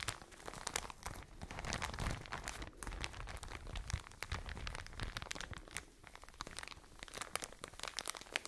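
A soft white and blue plastic packaging bag full of cotton pads is squeezed and crinkled with fingertips and long nails. The result is continuous close crinkling and crunching, with many sharp bright crackles over a low, muffled rustle that swells and eases, dipping quieter near the sixth second.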